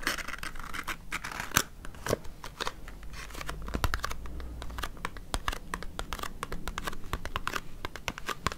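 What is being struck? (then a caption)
Small paperboard box. A small, hollow, white printed paperboard cosmetics box for Embryolisse Hydra-Masque is held in the hand and scratched with long nails. It gives a steady run of quick, dry scratches and taps with a bright, papery rasp over a low hollow rumble. Each stroke stops short with almost no ring.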